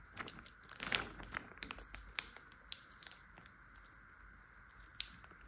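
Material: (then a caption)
Plastic. Fingertips and short nails tap and press a large clear plastic Ziploc bag full of water lying flat. The result is a series of soft, crinkly plastic taps and squishes with bright clicks, over a faint steady tone. The sharpest tap comes near the start, and the sounds thin out toward the end.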